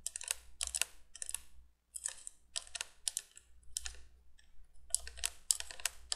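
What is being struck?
Plastic window candle light.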